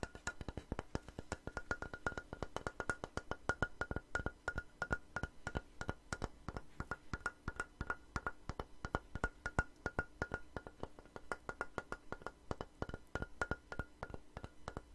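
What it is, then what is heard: Wooden board. A long, light, solid wooden plank held upright is tapped and scratched with long nails. Quick, dry clicks come in a rapid, uneven stream with very little ring. Many strikes carry a bright knock tone around 1.4 kHz.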